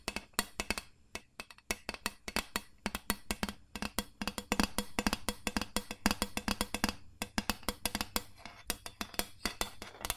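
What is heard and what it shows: Long nails tap and scratch the bottom of an empty, hollow gold ribbed carbon steel loaf pan held close to the mic. Dozens of quick, dry metallic taps in uneven bursts carry a hollow tone around 211 Hz and a bright edge. Each tap dies almost at once, with soft scratching between them.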